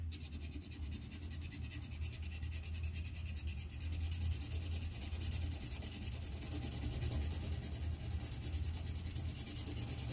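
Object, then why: Colored pencil on a paper sheet on a clipboard. A red colored pencil tip rubs and scratches back and forth on a thin white paper coloring sheet held on a clipboard on a flat surface, shading in a flower pot. The result is a steady, continuous scratchy rubbing with a dense low rumble underneath and a faint bright hiss.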